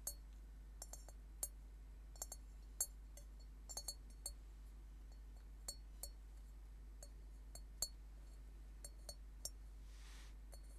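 An upside-down hollow metal Tibetan singing bowl resting on a table is tapped and scratched with fingernails and tilted, giving a scattered series of quiet, bright clinks with a brief high ring that dies away almost at once. A soft scratchy rustle rises near the end, all over a steady low hum.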